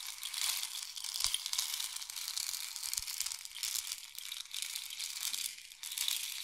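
A long, hollow, painted wooden or bamboo rain stick is tilted from diagonal to horizontal, sending its filling trickling down inside. A dense, bright, crackling patter with almost no low end runs steadily throughout, swelling and easing slightly as the stick's angle changes.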